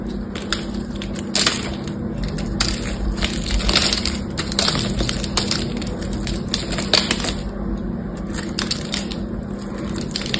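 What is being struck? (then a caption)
Soap bar with silver coating. A knife carves crunchy flakes off a solid green bar of soap with a silver patterned coating, held in the hand. Dense, crisp crackling scrapes and snaps run throughout, bright and close, over a steady low hum.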